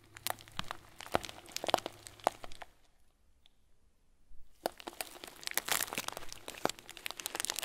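A clear, hand-sized plastic bag full of small white plastic pearls is pressed and crinkled with the fingers and thumb, giving sharp, bright crinkles and crackles over the shifting beads. The crinkling stops for nearly two seconds of near silence, then resumes denser and louder to the end.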